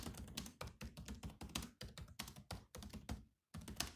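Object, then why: Plastic laptop keyboard keys. Both hands type with their fingertips on the black plastic keys of a grey laptop keyboard. Quick, dry, clicky taps come in rapid bursts, each with a soft low thunk and a bright click. The typing stops briefly just before the end, then resumes.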